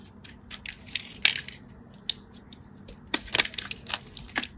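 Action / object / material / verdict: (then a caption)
scrape / bar soap / soap / none. A craft knife scratches and cuts across a solid orange striped bar of soap, crushing off its surface cubes. Crisp, bright crackles and snaps come in scattered bursts with quiet gaps between them. Each snap is dry and ends almost instantly, with almost no low end.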